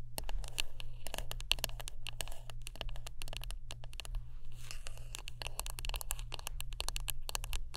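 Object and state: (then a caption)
Wooden brush. Close-up tapping and scratching on a wooden brush: a rapid, continuous run of sharp, dry clicks and bright scratchy crackles with almost no ring. A steady low hum sits underneath throughout.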